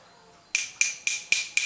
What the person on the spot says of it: ini materialnya logam, jadi ini lebih berat ya